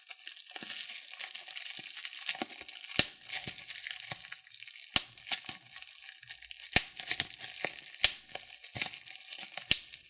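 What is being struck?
Plastic bubble wrap sheet.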